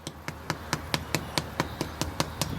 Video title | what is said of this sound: Achieving Crispy Perfection with this Unbelievably Simple Glass Pork Belly Recipe! | you want to hear a hollow sound you should be able to tap it